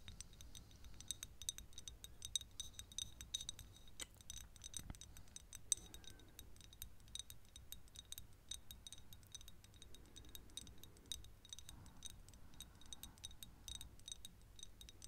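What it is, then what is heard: Glass perfume bottle. Long nails tap rapidly and steadily on a small, thick glass perfume bottle partly full of yellow liquid, striking both the glass and the cap. Each tap is a short, bright click with a brief high glassy ring over a soft low background hum.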